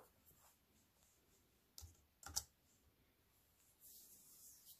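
Fingertips with long white nails type slowly on a compact plastic computer keyboard with black plastic keys set in a silver aluminium frame. Three quiet, bright, short clicks stand out against a faint background, followed by a soft, high rustle near the end.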